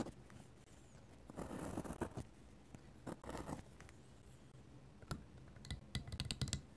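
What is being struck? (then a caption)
Paper sketchbook page and metal pen nib. A dip pen with a metal nib scratches and taps ink lines onto the thin paper page of an open sketchbook lying flat, with a lavalier mic resting nearby but untouched. Soft, papery scratching strokes come in bursts, followed by a run of quick, bright nib taps near the end, over a quiet low background.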